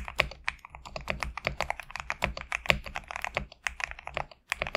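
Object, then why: Mechanical keyboard with PBT plastic keycaps. Fingertips type quickly on a GMK67 compact mechanical keyboard with PBT plastic keycaps. A steady stream of crisp, bright clacks sits around the upper midrange over a faint low thud, and each keystroke stops almost instantly. There is a brief pause near the end before the typing resumes.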